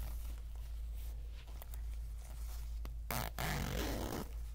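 An empty, unzipped orange polyester zipper pencil bag is held in both hands while its slider is pulled along the zipper. Faint scratchy ticks sit over a steady low hum, then a loud, bright zipping rasp starts near the three-second mark, breaks briefly, and runs for about a second before fading back to the quiet hum.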